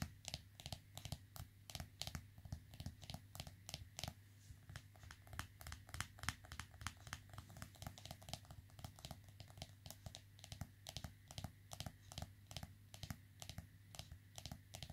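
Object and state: Smartphone in rubber case.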